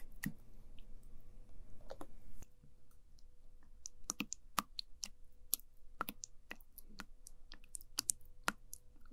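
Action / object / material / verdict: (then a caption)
scrape / jelly pudding in a plastic cup, wooden spoon / jelly / none. A wooden spoon presses into, scoops and lifts from orange sticky jelly pudding in a small translucent plastic cup. It makes a series of sharp, bright, sticky clicks over a soft low rumble, with a faint steady hum after the first couple of seconds.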